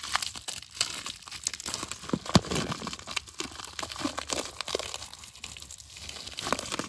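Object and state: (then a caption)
Plastic bag of tiny steel balls. A small clear plastic zip-lock bag, full of tiny solid steel ball bearings about 1–2 mm across, is squeezed and rubbed between fingertips. The balls shift and grind against each other inside the crinkling plastic, giving a dense, bright crackle of rapid, short clicks with one sharper snap partway through.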